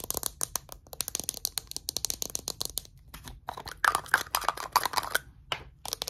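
A small hollow green plastic Mitchum roll-on deodorant bottle is tapped and scratched with short nails on its cap and label. Rapid dry, bright clicks run in quick bursts with almost no ring. Louder scraping rasps near the end carry a faint pitched squeak.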